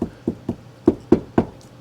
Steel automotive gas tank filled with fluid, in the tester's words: it sounds solid sounds like the fluids like right there